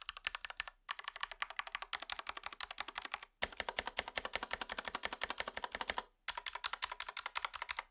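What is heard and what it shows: Fingertips type on a REXUS DAXA M64 Ultimate wireless gaming mechanical keyboard, a compact 60% board with white, grey and red PBT plastic keycaps and a plastic case, lying on a grey surface. Rapid, bright, clacky keystrokes come in steady bursts separated by brief pauses, each stroke short and dry with almost no ring or low-end thump.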